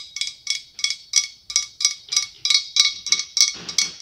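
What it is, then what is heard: Glass pumpkin. Long acrylic nails tap on the ribbed surface of a large hollow white blown glass pumpkin with a clear glass stem. The result is a steady stream of quick, bright, clicking taps in an uneven rhythm, each with a short high ring that dies away almost at once.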